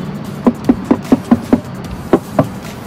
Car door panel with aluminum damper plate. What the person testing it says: our car door will resemble a box and is also sturdy